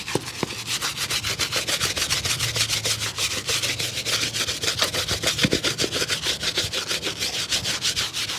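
A small brush scrubs back and forth over the sole and upper of a dusty grey leather shoe with a rubber sole, held hollow and empty and turned in the hand. Quick, steady strokes of about three per second make a bright, dry, hissy rubbing with almost no low end, and each stroke stops short.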